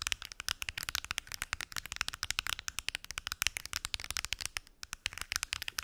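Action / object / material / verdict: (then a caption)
tap / plastic pill organizer box / plastic / none. Long acrylic nails tap and scratch rapidly across the lids of a large, translucent plastic weekly pill organizer with many small lidded compartments, hollow and apparently empty. About forty crisp, bright, dry clicks sound with almost no ring or low end, along with faint scratchy rustle between them and a brief lull near the end.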